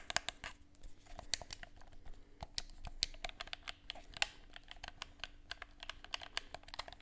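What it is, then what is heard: Plastic game controller. Fingertips click the buttons and tap the shell of a hollow black plastic handheld game controller. A rapid, uneven series of short, dry, bright plastic clicks and taps plays over a faint steady low hum, with each sharp transient dying away instantly.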